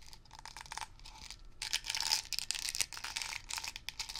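Fingertips rapidly tap and scratch the blue plastic brush cap and bristle top of a medium-size, hollow Blue Coral upholstery cleaner aerosol can. The result is a dense, bright stream of dry clicks and crinkly scratching with almost no low end and no ring.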